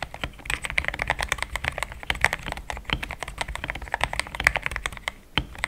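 Fast two-handed fingertip typing on a compact pink-white mechanical keyboard with thick plastic XDA keycaps, a polycarbonate plate and linear switches, resting on a desk mat. A dense run of short, crisp clacks with a bright mid-high click and a soft low thock under each press, every stroke dying away almost at once.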